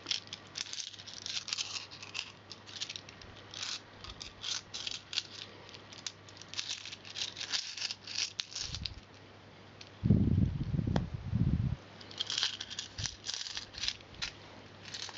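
A handful of copper and silver metal coins is held in both hands and shuffled and rattled together between the fingers. Bright, scattered metallic clinks and jingles run throughout over a steady low hum, with a louder, low rumbling handling burst partway through.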